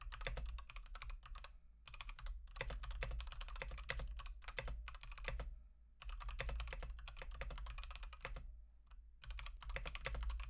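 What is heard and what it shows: Fingertips type continuously on an Akko 3108 v2 Monet's Pond mechanical keyboard with teal and white plastic keycaps and Gateron Pink switches. Rapid, bright, clacky keystrokes come in bursts, with short pauses near 2, 6 and 9 seconds, over a steady low hum.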